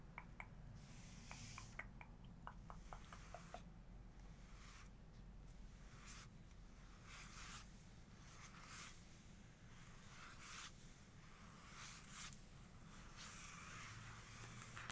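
Long nails on both hands tap and scratch-trace a large glossy photo page of an open photography book lying flat on a rug. Quick, light clicking taps in the first few seconds give way to soft, bright scratching swishes across the paper. It is all very quiet over a steady low hum.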